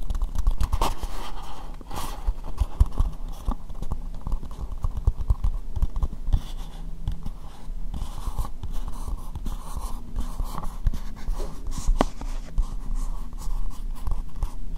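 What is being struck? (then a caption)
Plastic bowl. Long nails tap and scratch an empty, hollow, translucent pink plastic bowl, giving a steady run of dull, low, bumpy scrapes and quick clicks. The taps die away almost at once with no ring, and the hollow plastic keeps the sound deep and muffled rather than bright.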